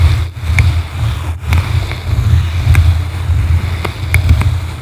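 Blue plastic-bristle brushes scratch both sides of a yellow foam microphone windscreen, producing a deep, steady rumbling boom centered around 78 Hz. Faint bright scratchy ticks crackle over it now and then.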